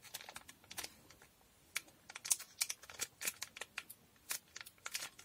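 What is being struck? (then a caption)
Small sealed foil packet tapped and scratched with fingernails. Long nails tap and scratch the surface of a small sealed blue foil Durex condom packet, making about nineteen quick, bright crinkling ticks and scrapes. The sounds are quiet and sharp, sit almost entirely in the high range with almost no low end, and each one dies away almost instantly.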